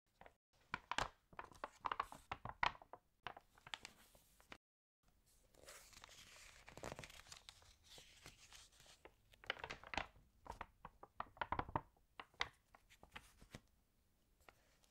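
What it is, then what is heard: Water-damaged paper magazine. Hands turn the crinkled pages of an open, water-damaged paper fashion magazine while long nails brush across the paper. Sharp, bright crackles and crunches come in bursts, broken by a brief silence and a stretch of softer, hissy brushing. The sound stays quiet and close, with each crinkle dying away almost at once.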